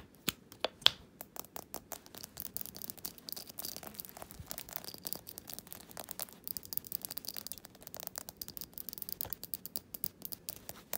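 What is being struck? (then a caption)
Glass jar candle with solid wax. A small glass jar candle filled with solid wax lies on its side on a fabric surface while fingernails tap and scratch the glass. The result is a quiet, dense stream of sharp, bright clicks and scraping sounds with almost no ring, centered around 3.4 kHz and high above.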